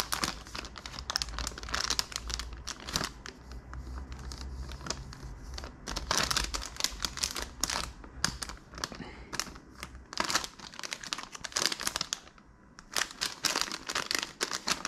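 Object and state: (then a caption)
Plastic candy pouch. A pink, flexible plastic SweeTarts Ropes candy bag, full of rope candy, is held in both hands and crinkled and squeezed with the fingertips. Dense, bright, crackly crinkles come in quick bursts with short quieter pauses between them. A faint low rumble sits underneath during the first half.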